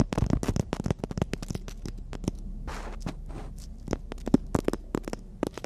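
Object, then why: Emery board nail file. Long natural nails tap and scratch along the gritty surface and edge of a long, flat, solid emery board nail file held between the hands. A rapid series of sharp, dry clicks is broken midway by a couple of brief, rasping scrapes across the grit. The taps then resume.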